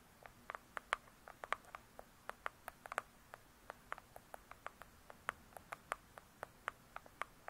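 Both hands with long pointed acrylic nails rapidly tap and scratch the glossy cardboard cover of a large, closed "True Crime" hardcover book lying flat. About 31 quiet, crisp clicks ring out in an irregular patter, each a sharp, dry tick centered near 1 kHz with bright edges and almost no ring.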